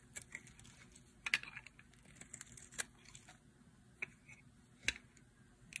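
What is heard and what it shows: A metal blade scrapes and carves the surface of a hand-sized blue solid bar of dry soap, and curls fall onto a pile. The sound is quiet, bright and dry, with crisp scratchy crackles and sharp clicks scattered over a faint hiss. Each crackle dies away almost at once.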